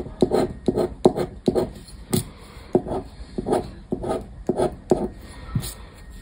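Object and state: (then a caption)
Paper scratch card being scraped. A black disc scraper rubs and scratches the coated play area of a thin paper scratch card lying on a wooden table. Short, rough, rasping strokes repeat in quick bursts, each scrape dry and papery with a midrange grit and a brief bright edge. Faint tapping and rubbing fill the gaps between strokes.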